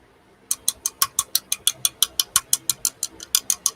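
A thin-walled turned wooden piece is tapped wood on wood, instead of flicked with a finger, because the flick sounded like plastic. There are 21 bright, dry, high-pitched taps at a steady pace of about three per second. Each tap is short, centred near 3 kHz with almost no low end, and dies away at once with no ring.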